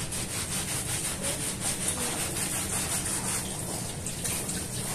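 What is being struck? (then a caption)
Soapy woven fabric rug scrubbed with a bristle brush. A small blue and red patterned woven fabric rug, dirty and covered in soap foam on a stone floor, is scrubbed by hand with a round hand-held bristle brush. Quick back-and-forth brush strokes blend into a steady, wet, foamy rasp with a bright, high hiss over a low rumble.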